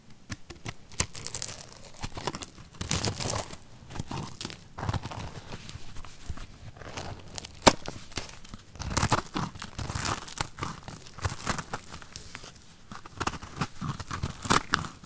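A fist-sized solid pink soap ball is held by hand over a pile of soap shavings while a flat metal blade shaves and carves its surface. Bursts of crunchy, crackling scraping come one after another, with bright high crackle over a dull low body and short quiet gaps between strokes.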